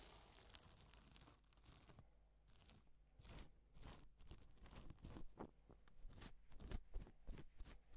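Gloved fingertips brush a stripe of sequins on a sheet of reversible plastic sequin fabric, flipping them from silver to pink. The result is quiet bursts of soft, crinkly rustling and tearing-like scratches over a low background hum, growing a little livelier toward the end.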